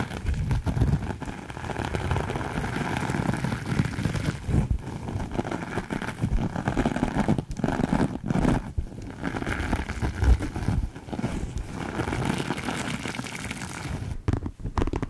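Long acrylic nails scratch and rub a soft, sparkly glitter fabric pouch held close up. The result is a steady, dense, crinkly scraping texture with a heavy low-end rumble, broken by a few brief quiet dips as the strokes change.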